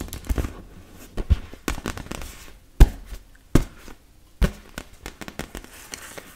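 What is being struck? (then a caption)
Inflatable PVC beach ball. Long red nails tap and scratch across the surface of a large, fully inflated, hollow blue-and-yellow PVC vinyl beach ball. The sound is a series of dull, low, boomy thumps, a few louder and sharper than the rest, mixed with soft scraping and crinkly rubs. Each tap dies away almost at once.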